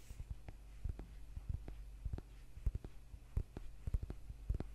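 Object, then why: Thick paperback book. Fingernails tap and scratch the cover and spine edge of a thick, solid paperback book held in the hands. A quiet series of short, dull, low-pitched taps plays over a steady low hum, with faint scratching between them.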